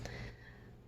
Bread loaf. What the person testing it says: it doesn't sound quite hollow when I knock on it